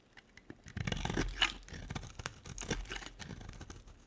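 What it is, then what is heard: Dry bar soap being carved. A small metal blade carves a solid cream-coloured bar of dry soap held in the hand, with shavings piled behind it. A few soft ticks give way to dense, dry scraping strokes with a crisp, crunchy, tearing texture and bright high hiss. The strokes swell to a louder burst near the middle, then continue in steady, slightly softer scrapes.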